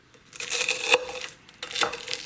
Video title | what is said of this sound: How to make crispy diner style hash browns | i don't know if you can hear that how crispy that is